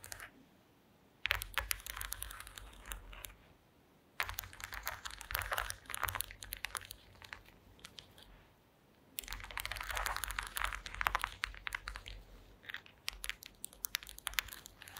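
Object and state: Woven wooden placemat.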